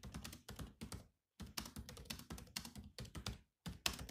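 Fingertips of both hands type on the low-profile plastic chiclet keys of a grey metal-bodied laptop. The keystrokes come as short, quiet clicks and thunks that mix a low thud with a bright tick. They run in quick bursts separated by brief pauses.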